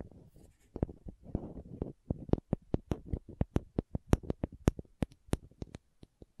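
Long nails scratch a small, hollow green and white plastic contact lens case held close to the microphone and twist its screw lids. Soft, low scratchy rustling gives way to a fast run of about two dozen sharp, bright plastic clicks and taps that stop almost instantly, with brief quiet gaps between them.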